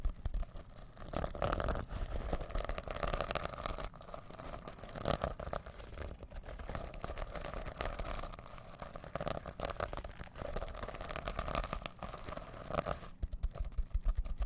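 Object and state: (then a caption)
Sequin pouch being scratched. Fingertips scratch the rainbow and silver plastic sequins of a reversible sequin pouch held in both hands. The result is a steady, dense, crinkly scratching texture with a low rumbling undertone, rising and falling in short bursts throughout.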